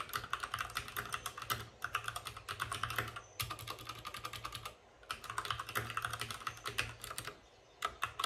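A white RGB-backlit mechanical keyboard with plastic keycaps and a hollow plastic case is typed on fast with the fingertips of both hands. Dense bursts of short, bright clacks with a hollow midrange tone run in quick runs, broken by brief pauses near 3.3, 5 and 7.5 seconds.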